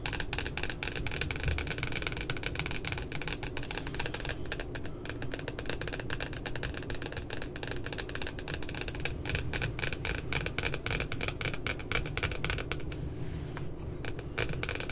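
Long glittery nails tap and scratch the glossy cardboard back cover of a spiral notebook with a puppy design. The result is a dense, steady stream of quick, dry clicks and light scraping over a low background hum. Each tap dies away almost instantly.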